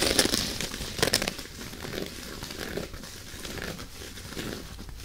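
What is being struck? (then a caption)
Loofah pad of dry plant fiber. Long natural nails scratch and tap the rough, fibrous surface of an oval loofah sponge pad made of dry plant fiber with a fabric trim. Dry, bright crinkling and crackling scratches come with a few sharper taps near the start, then settle into a steady, softer rasp.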